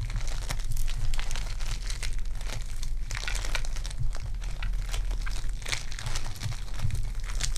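Purple foam-bead clay is stretched and kneaded by fingertips with long dark nails. It gives a steady stream of bright crinkling, crackling and popping over a low, constant hum.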